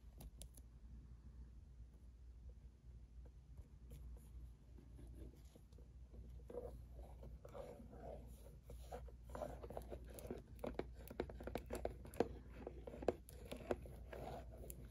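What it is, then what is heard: Cardboard tea box. A hollow, medium-sized printed cardboard herbal tea box is held in both hands while fingertips and nails tap and scratch its top and sides. Soft, irregular dry taps and scratchy rustles grow busier and louder toward the end over a quiet, steady low hum.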